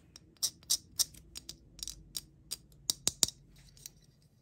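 Long painted nails tap and click on a small, solid plastic figure with a hard, yellow, box-shaped head, held in the hand. Twelve sharp, dry clicks come at an uneven pace, each bright and high-pitched with almost no low end. Every click dies away almost at once.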